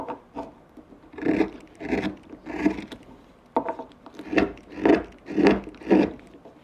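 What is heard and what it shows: A gouge cuts and scrapes a small, solid, pale wooden pipe blank with a carved rounded form, leaving shavings around it. Repeated rasping, rubbing strokes come in an uneven rhythm of roughly two per second. Each stroke is a short, dry burst of woody scraping centred in the low-mid range with faint bright edges, and it dies away quickly.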